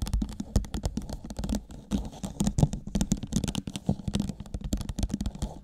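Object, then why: Thin clear plastic cup. Long nails on both hands rapidly tap and scratch the sides and base of an empty, thin, hollow clear plastic cup turned upside down over a microphone. It makes a dense stream of quick, dull, hollow clicks and scratchy rustles, heavy in low, boomy tones with a faint low hum beneath.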